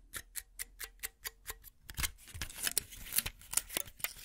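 Long nails tap a small plastic and foil pill blister pack, its filled plastic bubbles set on a foil backing, with eight quick, evenly spaced bright clicks. The tapping then gives way to denser, crackly scratching across the bubbles, a rough, bright rustle punctuated by sharper ticks.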